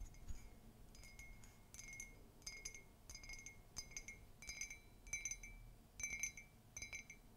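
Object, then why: Ceramic mug. A large, empty, hollow ceramic mug, white with a black-and-white Mickey comic print outside and red glaze inside, is tapped and scratched with long pink nails. It gives a series of quick, bright clinks with a high, glassy ring that fades almost at once, between soft scratching sounds.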